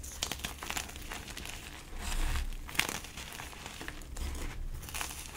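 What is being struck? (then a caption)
Block of gym chalk. Bare hands crush and crumble an orange-dyed gym chalk slab, broken into solid pieces with glitter, on a tiled floor, grinding it into powder. Dense bright crinkling and crunching crackles run throughout over a low rumble, with a few sharper snaps standing out.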